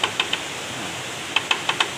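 A young black bamboo (bambu wulung) culm is knocked seven times, in a quick group of three and then a group of four, giving short, dry, high clicks that die away almost at once. It sounds duller and less ringing than a mature culm, which marks it as young and lower in quality.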